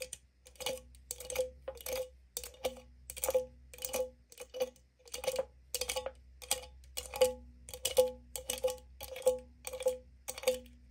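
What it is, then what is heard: Aluminum drink can lid. Long nails tap and flick the metal pull tab and top rim of an opened, likely empty aluminum green tea can. The result is a quick, irregular run of sharp metallic clicks with a short ringing tone near 500 Hz, brief high scratchy edges, and a faint low hum underneath.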